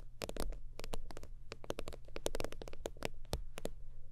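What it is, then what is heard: Holographic faux-leather wallet. Long nails tap and scratch across the creased top surface of a holographic faux-leather zip wallet lying flat. The result is a rapid, steady run of short, crisp clicks with brief soft scratches over a low, dull rumble, each tap dying away almost instantly.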